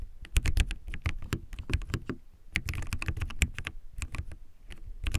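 Fingertips type quickly on a backlit plastic mechanical keyboard with white plastic keycaps, seen close up. The keystrokes come as a dense run of sharp, short clacks with a deep thock underneath and bright clicky tops.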